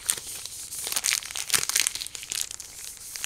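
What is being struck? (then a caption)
Chocolate bar in paper and foil wrapper. A large, full chocolate bar in a green paper-and-foil wrapper is handled with fingertips and turned to show the chocolate. The wrapper gives bright, high-pitched crinkling with a run of sharp crackles and almost no low end.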